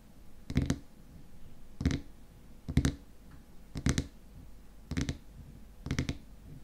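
Fingernails tap rapidly on the top of the frosted white plastic lid of a small glass cream jar filled with cream. Six short bursts of quick, dry clicking stand out over a faint low hum, each with a dull low thud and a brief bright edge that dies away almost instantly.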